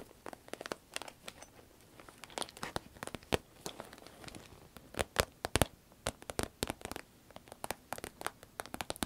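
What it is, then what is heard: Vinyl pencil case, scratched and squeezed. A small, hollow, cylindrical sparkly green vinyl zip pencil case is held in the hand, squeezed and scratched with long red nails. The result is a rapid, irregular series of sharp, dry crinkling clicks and crackles that ring bright and die away instantly, over a faint rustling background.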